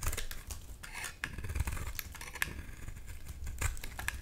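A hand-sized solid white bar of soap, held in one hand, is carved with a black-bladed, white-handled knife over a bowl of soap shavings. The blade scrapes and shaves off crumbly chips with a dry, crackly scratching, broken by short, bright clicks. Low thumps come as the pieces fall.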